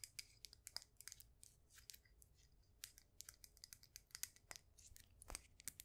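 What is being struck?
Glazed ceramic mug planter filled with soil.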